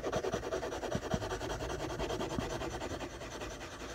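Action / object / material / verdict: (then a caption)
scrape / graphite pencil on drawing paper / paper / none. A graphite pencil makes steady scratching and shading strokes across a taped sheet of white drawing paper. The soft, dry rasping comes in quick, rhythmic back-and-forth strokes that grow slightly quieter toward the end.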